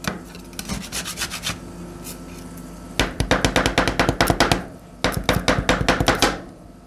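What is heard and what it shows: Two metal spatulas held in black-gloved hands chop a small, solid heap of frozen purple blueberry ice cream on a stainless steel cold plate, then gather it up while scraping the metal surface. Three bursts of quick, sharp, bright metal taps and scrapes ring only briefly, separated by short pauses with a steady low background hum.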